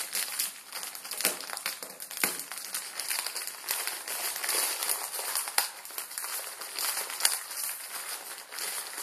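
A plastic instant ramen packet with noodles inside is scratched with fingertips on a table, then picked up and pinched. Its plastic film gives a continuous, dense crinkling and crackling. The sound is bright and airy with no low end, and sharper snaps rise above the steady rustle.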